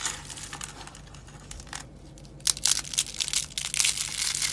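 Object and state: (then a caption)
Dry soap crushed into crunchy flakes. Dry blue soap roses made of rolled soap ribbons are crushed in the hand and pressed with the fingertips into brittle flakes. Bright, dry crinkling and crackling starts soft and sparse, then turns into louder, denser crunching bursts in the second half.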